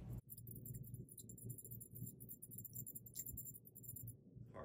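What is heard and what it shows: A metal counterbalance ball from a counterbalance lamp is shaken in a shake test, for comparison with the lead-filled ball of a Tiffany lamp. It gives a quiet, continuous jangling rattle of many quick, irregular metallic clinks over a low rumble for about four seconds.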